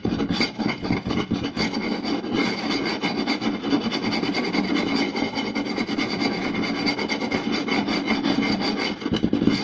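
Two hands quickly scratch the surface of a round, solid wooden plate with their fingertips and short nails. The result is a steady, dense, raspy scratching that continues without a break, with a woody midrange body and a bright, hissy top.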